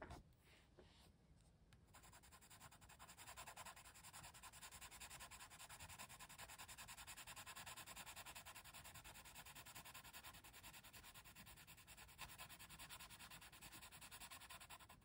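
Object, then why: Wooden colored pencil on paper page. A hand with long red nails quickly rubs a yellow-tipped wooden colored pencil across a printed paper coloring book page held flat, shading a tree. The pencil lead gives a steady, bright, dry scratching against the paper in rapid back-and-forth strokes, with a brief quieter start before the shading settles into a continuous rasp.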